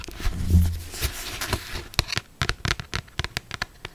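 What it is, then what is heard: Paperback book cover tapped with nails. Long black stiletto acrylic nails scratch across and then tap on the glossy paper cover of a closed, solid paperback novel, "Maybe Someday," held up in the air. A soft papery scratching with a brief low thump in the first half gives way to a run of quick, sharp, dry clicks with short decays.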